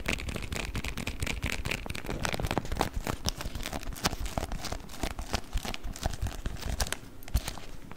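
A beeswax-coated cotton wrap is rolled and then crumpled in the hands. It makes dense, continuous crinkling and crackling with many quick, dry snaps over a steady low rumble. The crackles stay close and rapid throughout.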